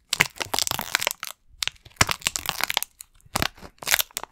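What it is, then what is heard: Plastic video game case. A hollow green plastic Xbox game case is tapped and scratched with fingernails, giving dense bursts of bright, crackling clicks and scrapes. Short pauses separate the bursts, and each sharp tap dies away almost at once.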